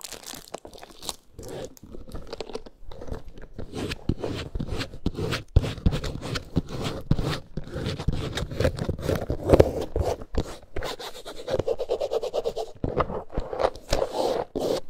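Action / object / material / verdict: scrape / faux leather handbag with textured snake-print surface / faux leather / none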